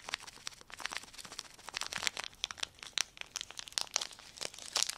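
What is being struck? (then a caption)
Thin clear plastic sheet. A small clear plastic sheet is held in the air while fingertips crumple, fold and crinkle it. A dense run of sharp, bright crackles and snaps follows, with almost no low end and a few louder pops standing out near the end.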